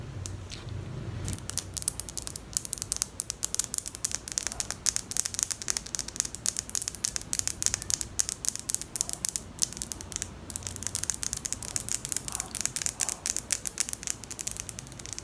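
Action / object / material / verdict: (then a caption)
scrape / hard plastic wide-tooth comb / plastic / none. A large bright pink hard plastic wide-tooth comb with a long handle is held in both hands close to the mic while long pink nails strum and scratch along its teeth. The result is a continuous stream of sharp, bright ticks and scratchy clicks with almost no ring, running at a steady, quiet level throughout.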